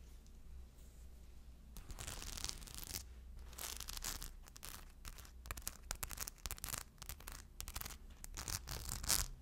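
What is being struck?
Purse covered in small rhinestones.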